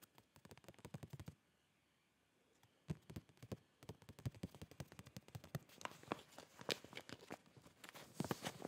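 A full clear plastic zip bag of boxer shorts, about 25 cm tall, is held up and tapped and squeezed with fingertips. Quick, soft, dry taps and plastic crinkling come in clusters, with a quiet pause of over a second before the tapping resumes. The sound grows busier and brighter with crinkles toward the end.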